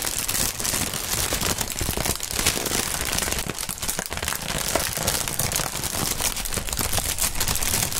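Clear plastic inflatable air-pillow packaging film with air-filled chambers is held and crumpled between gloved hands, pressing and crinkling the film. It gives a dense, steady stream of bright crinkling and crackling with many small sharp pops at an even level throughout.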